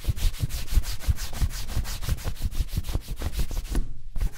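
A cloth strip held taut in both hands is pulled quickly back and forth across the toe of a worn black leather Chelsea-style ankle boot in a shoe-shine buffing rub. The result is a steady, rhythmic swishing of bright, hissy strokes over soft low thumps, with a brief pause near the end before the rubbing resumes.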